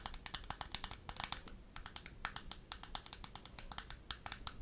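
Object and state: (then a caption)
Plastic makeup compact. Long nails rapidly tap and scratch the surface and edges of a closed, small square Barbie-branded plastic blush compact with a gold metallic rim, held up in front of the microphone. The result is a quick series of sharp, dry clicks with bright, crisp tops and almost no ring, mixed with soft scratching between the taps over a faint low background hum.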